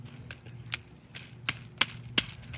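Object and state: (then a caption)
Dry okra pod with ripe seeds. A dried okra pod is thumped, and the seeds rattle inside it as a series of seven short, dry, bright clicks over a low background hum. The rattling shows the seeds are ready.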